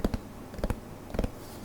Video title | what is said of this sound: DVD collection donation, ASMR | I'll do some tapping ear to ear because this case is metal